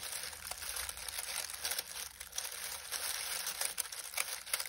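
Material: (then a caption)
Dried leaves. Two hands press and knead a pile of dried, crinkly lemon balm leaves in a glass bowl resting on a grey towel. The fingertips produce a steady, bright crinkling rustle dotted with sharp crackles, with almost no low end.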